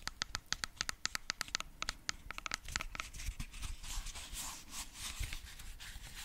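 Fingertips and nails scratch close to the mic across the grey fabric mesh cover of a hand-sized, solid, cylindrical JBL Bluetooth speaker with rubber end caps. It begins as a quick run of sharp, separate ticking scratches with a bright, slightly tonal edge. These then blur into a denser, continuous raspy scraping with a soft low rumble underneath.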